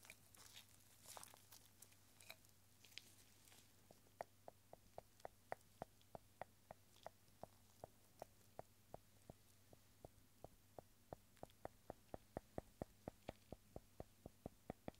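A small, clear, hollow glass bottle, partly filled with rolled paper scrolls and held in a gloved hand, is tapped on the outside with a pencil's rubber eraser. Soft, bright rustling and crinkling come first. Then a long, steady series of short, dull taps follows, each with a faint glassy ring around 625 Hz, over a low, constant hum.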